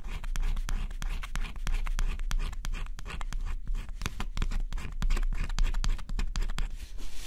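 A stylus held in the fingertips scratches the coating off a flat, thin, coated cardboard scratch-off jigsaw puzzle. Rapid, dry, crisp scratching strokes run steadily throughout, each a short bright scrape. A constant low hum sits underneath.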